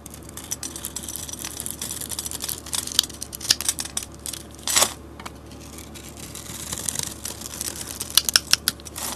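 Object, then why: Bar of soap cut with a metal blade. A metal utility blade scrapes and cuts the scored surface of a hand-sized solid white Ivory soap bar with a bronze coating, shaving it into white soap flakes. The sound is a bright, crisp, crackling scrape with frequent sharp ticks and a louder rasping cut partway through.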